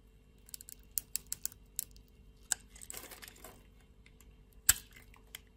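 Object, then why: Translucent bar soap scraped by a blade. A blade scrapes across the scored surface of a solid, translucent pink bar of soap held in a hand with long nails. About ten sharp, bright clicks and crisp scrapes are heard, with a brief rougher, grainy scraping passage in the middle and the loudest snap near the end.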